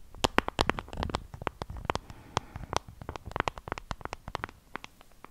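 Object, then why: Small plastic compact case. A small, flat, hollow pink plastic compact case with a textured pattern is held in the hand and tapped and scratched with long acrylic nails close to the microphone. The result is a rapid, irregular run of about 27 crisp, dry clicks and taps with no ring, mixed with soft scratching between them.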